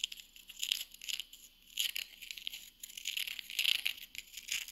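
Long nails tap and scratch along the edge of a small, flat, solid round wooden coaster held edge-on. The result is a quiet, dry patter of crisp clicks and scratchy rustles, almost entirely high and bright with no low end. The bursts come in uneven clusters and stop instantly with no ring.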